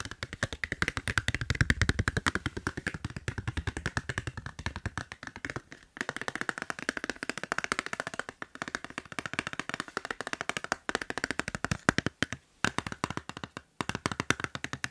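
A plain, transparent plastic phone case with no drawing, a thin hollow shell, is held in one hand and tapped fast with the fingertips and short nails. The result is a dense run of short, dry, clicky taps with very little ring, broken by a few brief pauses.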